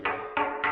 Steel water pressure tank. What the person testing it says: Hollow that's a good sound that's what you want it to sound like Hollow